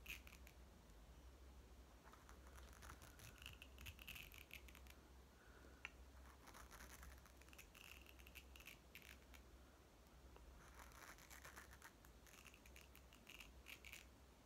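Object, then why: Hollow plastic toy ball. A small, closed, hollow green plastic toy watermelon ball is held in both hands and tapped and scratched with fingertips and nails. Quiet bursts of light clicking and scratching come in clusters, with a faint hollow ring around 2.7 kHz. A steady low hum runs underneath throughout.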